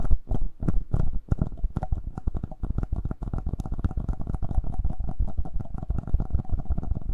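Fingertips and nails tap and scratch the mic capsule area and top of the body of a hollow, black plastic Tascam handheld audio recorder. Rapid, dense taps and rubbing scrapes come through as deep, boomy thumps close to the mic, with a muffled low rumble and almost no bright content.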